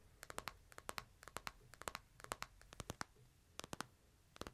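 Fingertips tap the screen and edges of a smartphone in a plastic case, first held flat and then upright. About 23 quick, dry clicks come in small bursts, each bright with a faint low thump and almost no ring, over a soft background hiss.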